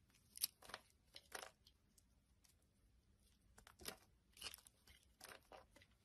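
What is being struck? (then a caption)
Bar of soap cut with a metal blade. A metal blade carves a solid red and brown bar of soap, peeling off thick flakes. Short, crisp scraping and crackling strokes come in quick bursts, bright and airy with little low end, over a quiet background.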